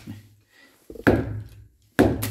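A molded, impact-resistant extension-cord socket is banged against a wall. The blows land as dull, low thuds that die away fast. The socket comes through undamaged and needs only a quick wipe of dirt.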